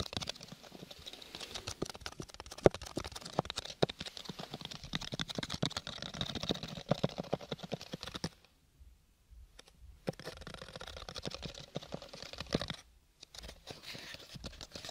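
A small, hollow, square cardboard gift box covered in purple textured paper is held close to the mic and tapped and scratched with fingernails. Rapid, dense, dry clicks and papery scratching run almost continuously. They break off into brief silences around the middle and near the end before resuming.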